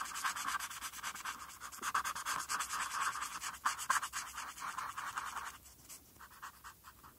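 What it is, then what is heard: Felt-tip marker on paper. A felt-tip marker scratches over a flat white paper coloring sheet in short, rapid strokes, colouring in the letters. It makes a dry, scratchy rasp centred around 1 kHz with bright hiss above. The strokes soften and thin out over the last couple of seconds.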